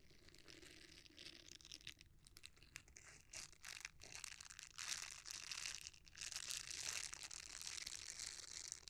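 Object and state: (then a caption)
Silicone scrubber. A red silicone bristle scrubber is folded and rolled while fingertips rub and squeeze its bristles. The result is a steady stream of bright, crinkly, crunching rustles that swell and fade in bursts, with little low end.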